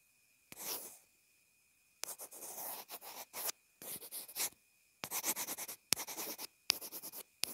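A pencil tip writes and scratches on a small white plastic inline earphone remote/mic. Bright, dry scratching strokes come in quick rapid bursts, each starting with a sharp tick and stopping dead with no ring, separated by brief pauses.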